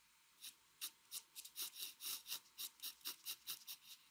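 A mechanical pencil held steady makes 13 small scratching strokes on a flat white drawing paper sheet. Each stroke is a short, dry, bright rasp with almost no low end, spaced fairly irregularly over a quiet background.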